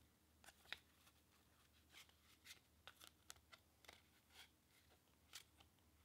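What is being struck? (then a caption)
Paper playing card deck. A deck of pink/red-backed paper playing cards is held above a table and fanned and riffled through with the fingertips and thumb. About twelve soft, bright, papery flicks and clicks stand out separately over a quiet low hum, each dying away almost instantly.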